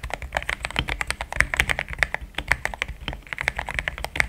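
Fingertips of both hands type steadily on a compact pink-and-cream plastic mechanical keyboard with thick XDA-profile keycaps, Gateron Yellow switches and a polycarbonate plate, sitting on a desk mat. A rapid run of short, dry clacks with a bright, high edge centered around 2 kHz, each dying away almost instantly over a faint low thud.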